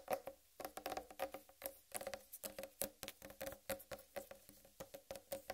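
Long red-painted nails tap and scratch the green striped rind of a large whole uncut watermelon. The result is a rapid, uneven series of quiet, hollow, woody taps with a mid-pitched tone around 550 Hz, mixed with faint bright scratching. Each tap dies away almost instantly.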